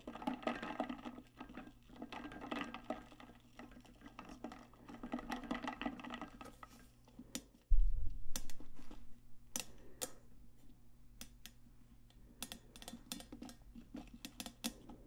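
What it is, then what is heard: Stainless steel tumbler. A large, hollow stainless steel tumbler with a lid and straw is held close to the mic and tapped on its side with long nails and fingertips. Quick, irregular clicky taps sound over a steady low hum, with bright ticks and a louder low thump partway through.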